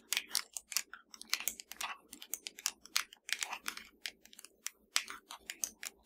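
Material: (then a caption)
Plastic. Long dark nails of both hands tap rapidly and irregularly on a slim, hollow black plastic Fire TV remote control lying flat. Each tap is a dry, bright, clicky tick that dies away almost instantly, with almost no low end. The result is a quick, uneven patter that sounds like light typing.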